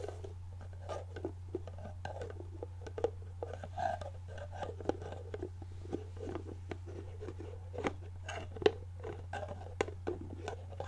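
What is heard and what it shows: A medium clear plastic jar of organic coconut oil, apparently full, is held in hand while its white plastic screw lid is tapped, scratched and twisted with long painted nails. The result is a quiet run of short, dry plastic clicks, taps and scrapes, with a few sharper knocks, over a steady low hum.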